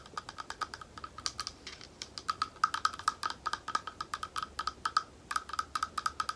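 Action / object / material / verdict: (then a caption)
tap / small thick glass bowl / glass / none. A small, thick, hollow and empty clear glass bowl is tapped on its side with the long nails of one hand. Dozens of quick, light clicking taps come in an uneven stream, each with a short bright glassy ping centered around 1.3 kHz that dies away almost at once.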